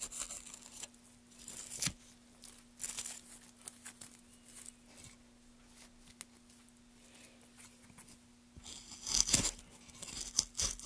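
A gloved hand pushes a small gouge along the grain of a solid pale softwood board, scraping and cutting it. Bright, dry, tearing scrapes come in short, irregular bursts over a faint steady low hum, and grow louder and sharper near the end.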